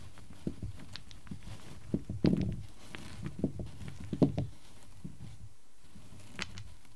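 A set of small, solid light-wood cubes resting on a black surface is arranged and tapped with fingertips and nails so the cubes click together. Soft, dry, low knocks and clicks come at an irregular pace, each dying away almost at once, with a few brighter taps standing out against a quiet background.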